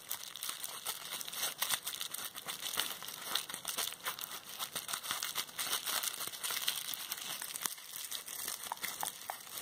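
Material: Plastic.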